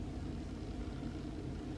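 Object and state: Nothing is struck.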